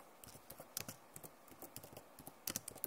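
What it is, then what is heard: Plastic laptop keyboard. Long nails and fingertips type on the keys of a backlit plastic laptop keyboard. Quick, irregular bursts of sharp, bright clicks and taps die away almost instantly, with a few louder clacks near the end.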